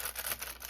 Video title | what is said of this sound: Creative Art Journal Flip Through! | sounds like plastic. Um, but it's actually it's paper.